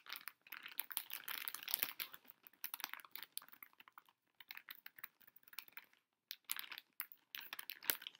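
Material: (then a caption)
Plastic foil. A pink Pocky snack bag, a large flexible plastic foil pouch holding boxed biscuit packs, is held upright in both hands while fingertips and long nails tap and squeeze it. Dense bursts of bright, crisp crinkling and sharp clicky taps come in uneven clusters, with brief near-silent pauses near the middle and around six seconds. The sound is high and thin, with no low end.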